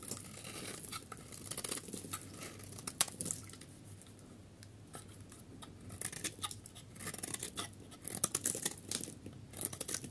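A metal knife blade scrapes the surface of a solid rectangular yellow dry soap bar held in the hand, shaving off flakes that fall away. The sound is a quiet, dry, crisp scraping with bright crackling bursts and short sharp ticks, louder near the middle and end.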